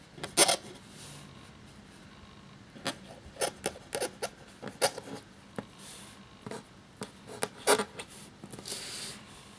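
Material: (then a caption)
Paper. A black feather quill nib scratches across a thin, cream, parchment-style paper sheet lying flat as it writes. Short, bright, scratchy strokes come in irregular bursts, separated by quiet gaps. A softer rasp of the nib rubbing the paper is heard near the end.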